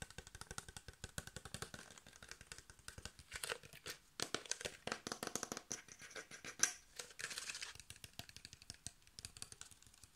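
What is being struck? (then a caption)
Thin plastic water bottle with cap. Fingertips and nails rapidly tap a clear, hand-sized plastic water bottle with a blue cap and paper label, hollow and mostly empty, striking both the plastic and the cap. The result is a quiet, fast stream of sharp, bright crinkly clicks and light cracks that die away almost instantly, with little low end and a few slightly louder taps.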